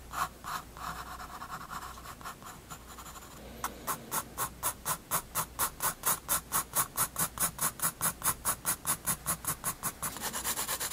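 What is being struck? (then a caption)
Graphite pencil on a paper sketchbook page. A graphite pencil scratches fast shading strokes on a page of a spiral-bound paper sketchbook resting on a wooden desk. It starts with soft, uneven scratching, then settles into a steady run of quick back-and-forth strokes, each a bright, dry rasp. It ends in denser, more continuous scratching.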